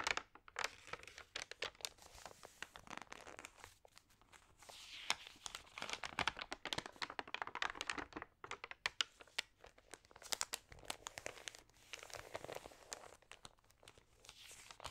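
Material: Glossy paper.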